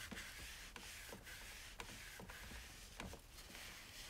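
A paper towel wipes the sides and top of a single-serve coffee maker with a white plastic hollow body and ribbed drip tray, sitting on a countertop, while one hand rests on the drip tray. A quiet, steady, bright rubbing hiss runs throughout, broken by four faint knocks.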